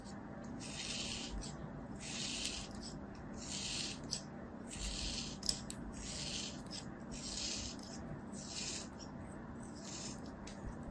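A thin metal knife blade repeatedly slices through a palm-sized solid kinetic sand ball held in the hand. About eight bright, gritty rasping strokes come at an uneven pace, each a soft scraping hiss over a low background rumble.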